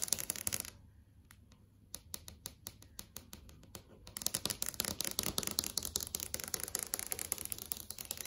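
Fingertips and long acrylic nails tap on the panel of a large flat LCD TV screen, making short, dry, bright clicks with almost no ring. A brief burst of taps gives way to sparser, quieter taps, then from about four seconds the tapping turns dense and rapid with a high, hissy edge.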